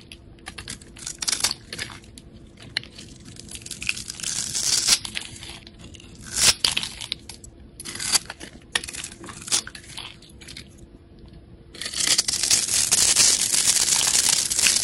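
A hand-sized solid blue rectangular soap bar is scored into a grid with a metal utility blade, which then scrapes off small cubes that crumble away. Bright, crisp scratching and crunching come in quick irregular bursts. They end in a sustained, louder stretch of high, hissing scraping.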